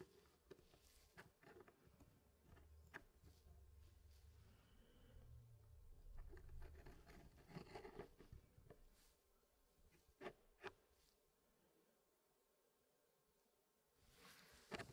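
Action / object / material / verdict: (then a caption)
scrape / wooden packing puzzle pieces / wood / none. Gloved fingertips press and shift solid wooden pieces in a small square wooden tray puzzle that is nearly full, making a quiet, clicky patter. Sharp, bright clicks stand out over soft low shuffling and scraping, with a final burst of clicks near the end.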